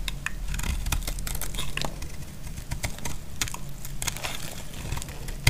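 A utility blade scrapes long curled shavings from a solid, dry brown bar of soap. The result is a steady run of dry, crinkly scraping with many quick, bright crackles and clicks over a low background rumble.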